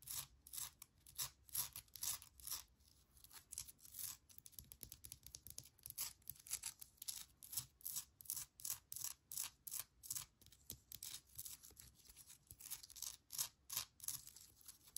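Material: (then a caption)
Granite. Long nails tap and scratch the rough surface of a small, solid, speckled granite rock holding an air plant. The sound is a quiet, rapid, uneven run of bright, dry clicks and scratchy rasps that stop almost instantly with no ring.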